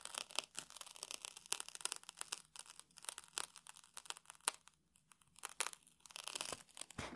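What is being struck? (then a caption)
Puffed rice cake scratched with a small metal tool. A small metal tool scratches and picks at the crunchy grains of a round puffed rice cake in a red wrapper. The result is a rapid run of quiet, dry, bright crackles and crunchy scrapes with a brief lull near the five-second mark.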